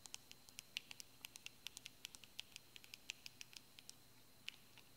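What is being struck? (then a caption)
Plastic cosmetic squeeze tube. A white and yellow plastic cosmetic squeeze tube with a paper-printed label, partly filled, is held in the hands and tapped and scratched with the fingernails. About thirty quick, dry, bright clicks patter irregularly over a faint steady hiss, each dying away almost instantly.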